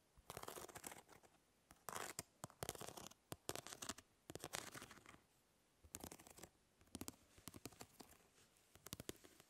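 Fingernails scratch and flick across the grid mesh of a plastic fly swatter. Dry, bright bursts of scratchy rasping come in irregular clusters, broken by quick, sharp ticks and short silences. The sound is quiet and crisp, with almost no ring after each stroke.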